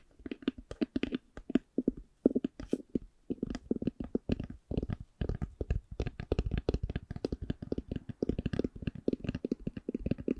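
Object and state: Faux leather hard eyeglass case.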